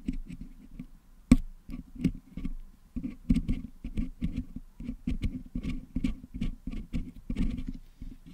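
Two wooden toothpicks scrape and pick at the putty-filled metal mesh grille of a Blue Yeti microphone head to clean the putty out of its holes. The result is a steady run of soft, close, low-heavy scratchy clicks and taps, each short and dry, with one sharper, louder snap early on.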